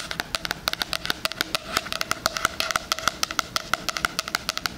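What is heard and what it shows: Fingernails scratch and tap along the pink floral cardboard cover and edge of a solid, book-like 2020 spiral-bound hardcover planner held near the mic. About 35 quick, dry, bright clicks sound in an uneven rhythm, each with a clear tone around 1.4 kHz and no ring. Soft scratching runs between the clicks.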